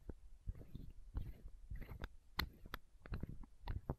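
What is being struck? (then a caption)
Small plastic bottle. Long nails tap and scratch a small, clear, hollow plastic eye drop bottle held close to the microphone. The result is a run of soft, dull, low thumps mixed with brief, bright clicks and scratchy rustles over quiet low rumble.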